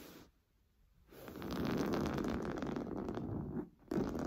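Fingernails scratch rapidly across a large stuffed cream pillow of fine-weave fabric with a piped seam. After a near-silent start, a dense, steady rasping scratch builds up, mostly soft and low-mid with little brightness. It drops out briefly near the end before returning at full strength.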